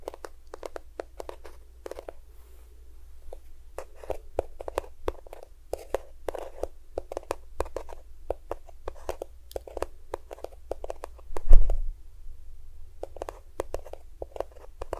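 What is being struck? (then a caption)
Plastic squeeze tube of lotion. A small cream-yellow plastic squeeze tube of lotion, hollow and at least partly filled, is held beside the recorder and tapped and scratched with fingernails. Rapid, dry, crisp clicks and scratches run throughout over a steady low hum, with a louder, fuller thump around the 11.5-second mark.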